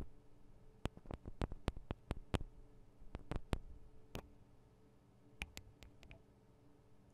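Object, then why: Metal microphone capsules of a handheld recorder. Fingernails tap the sides of the small metal microphone capsules on a Tascam DR-40 recorder, making about 17 short, sharp, bright clicks that die away almost instantly. The taps come in an irregular cluster, pause briefly, then return more sparsely over a quiet, steady low hum.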